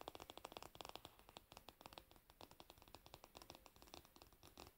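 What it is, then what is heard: Varnished wooden hairbrush back. Long nails tap and scratch the glossy, solid varnished wooden back and handle of a hairbrush held up close. The result is a rapid, quiet series of short, dry clicks and scrapes with almost no ring, bright and crisp with a woody tone around 740 Hz.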